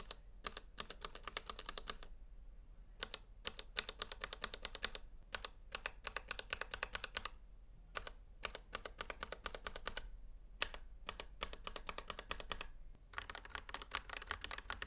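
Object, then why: Plastic mechanical keyboard. A gloved hand taps with its fingertips on the numpad and arrow keys of a full-size black plastic Razer Huntsman V2 Analog mechanical gaming keyboard, with a hollow housing and switches, resting on a white table. Bursts of rapid, bright, clacky keystrokes come in runs separated by brief pauses, each click dry and very short with a faint low hum beneath.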